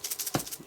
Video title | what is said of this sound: Brymen BM235 Back Light Noise Softened with same Capacitor | You can hear them if I shake them around.